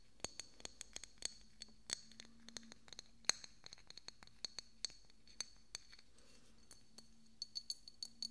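A small, hollow, decorative pink glass bottle with a cork stopper is held next to the microphone and tapped and scratched with fingernails. About 34 sharp, bright clinks and ticks come in an irregular run, each dying away almost at once, with soft scratchy scrapes between them over a faint low hum.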